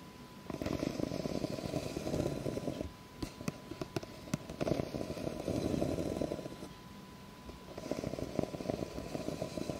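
Long nails scratch the ridges of an empty, clear ribbed plastic cup held tilted, producing dense, rasping scrapes concentrated in the low and mid range. The scratching comes in three bursts, with a few sharp clicks in the gap between the first two and a faint steady tone beneath.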